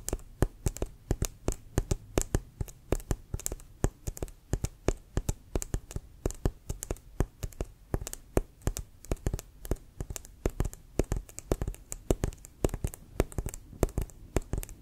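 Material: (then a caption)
Leather. A brown, inflated, leather-covered American football with a white stripe, held upright beside the face, is tapped on its pebbled surface with fingertips and nails. Rapid, steady taps give short, hollow, low thumps with a faint bright click, each dying away almost at once.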